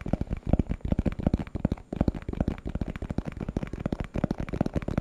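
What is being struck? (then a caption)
Small plastic box. A small, hollow, translucent plastic box with a purple printed label is held in the hand and tapped with fingertips and nails. The result is a rapid, irregular stream of short, dull taps that are heavy in the low end, with almost no high content and no ring after each hit.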